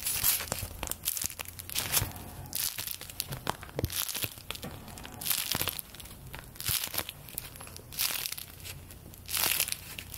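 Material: Paper.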